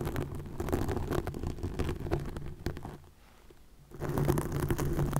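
Long nails scratch and rub a green plastic mesh net stretched over a microphone, producing dense, low, crackly scraping with rapid irregular strokes. The rubbing fades to a near-quiet stretch for about a second, then returns at full strength.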